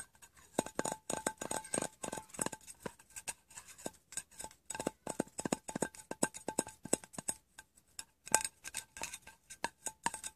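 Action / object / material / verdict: tap / small round metal tin with lid / metal / none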